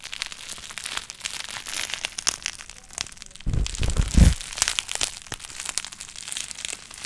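A clear plastic bubble wrap sheet with air-filled bubbles is held and bunched by hand close to the microphone while fingertips squeeze and crinkle it, popping the bubbles. Continuous bright crinkling is broken by sharp snapping pops, with a heavier, deeper burst of low-end rumble and loud pops in the middle of the clip.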